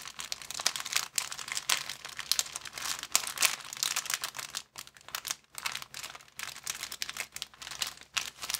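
Fingers grip, bend and crinkle a thin, empty, transparent plastic bag, making a dense, bright crackle of sharp snaps with almost no low end. The crinkling runs steadily, with brief quiet gaps partway through before resuming.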